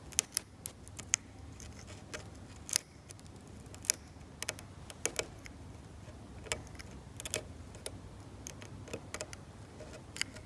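A metal scalpel scrapes the paint layer at the edge of a flat, varnished oil painting on canvas. It makes a quiet series of short, sharp, bright scratches and clicks with almost no ring, over a soft low background hiss.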